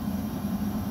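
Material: Nothing is struck.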